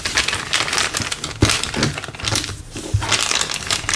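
A thin, empty, clear LDPE plastic bag is pressed flat, then gathered and crumpled in the hand above a wooden table. Dense, bright crinkling and crackling runs throughout, with a few duller low thumps mixed in and a brief quieter dip near the middle.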